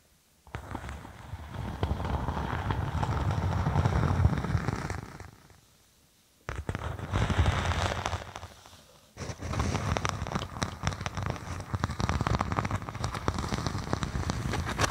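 A thin, flexible faux snakeskin vinyl (synthetic leather) sheet draped over a binaural microphone is scratched with long acrylic nails, then held at the sides. Three bursts of dense, rapid, crackling scratching, heavy and muffled in the low end, are separated by brief silences, with the last burst running steadily to the end.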